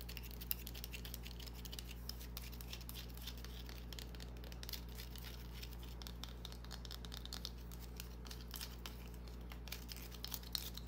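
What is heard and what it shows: A small, solid green bar of soap held in the palm is scratched and tapped with long painted nails. The result is quiet, dense, irregular crinkly scratching with quick, bright tapping clicks over a steady low hum.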